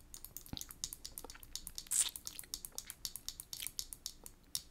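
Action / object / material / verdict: tap / plastic lipstick case / plastic / none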